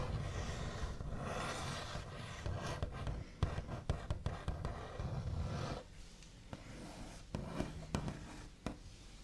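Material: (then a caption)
Wood. The backs of the nails on both hands tap and scratch across a large, solid, smooth white-finished wooden table top. A steady, dense scratchy rubbing fills the first half with a low, woody body. It then thins out into quieter, sparse, sharp tapping clicks with short bright edges.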